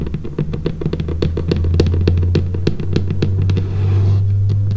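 Long painted fingernails tap rapidly and irregularly on a large, flat, solid, dark laminated wooden tabletop, giving sharp, bright clicks over a steady low hum. Near the end, a soft hissing brush briefly replaces the taps before the clicking resumes.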